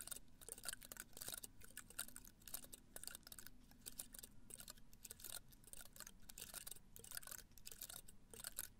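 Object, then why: Cactus spines in a pot. Fingernails scratch the spines of a small cactus in a red-brown pot, held in one hand close to the mic. Dense, crisp, bright scratches and quick dry clicks come in rapid bursts over a soft low rumble, with each scrape cutting off almost instantly.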